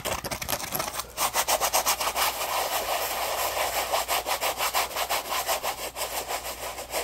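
Fingertips rub and scratch the textured surface of a yellow polymer foam Scrub Daddy puppy scrub sponge held in the hands in dim light. The result is a quick, uneven run of dry, scratchy strokes, about three per second, with bright hiss and almost no low end. A faint steady low hum sits underneath.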